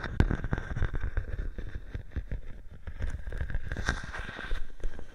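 A clear plastic bubble wrap sheet draped over a microphone is handled and scratched by fingers with long painted nails. The result is a steady stream of close, muffled crinkling and scratching with dense low-end thumps and rumble, punctuated by sharper crackles throughout.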